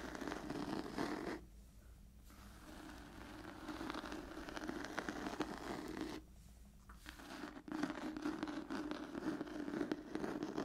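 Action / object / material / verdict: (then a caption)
scrape / cloth-bound hardcover book / cloth / none. Long nails scratch the textured cloth cover of a solid old hardcover book, making a continuous dry, raspy scraping with a steady mid-range body. The scratching drops to near-quiet twice in brief pauses before resuming at full level.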